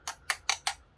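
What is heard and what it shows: Four light taps on the metal front sight of a Tokyo Marui AK Storm AEG airsoft rifle give short, bright metallic ticks that die away almost at once. The front sight is confirmed as metal.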